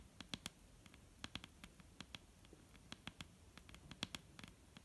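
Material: Wood.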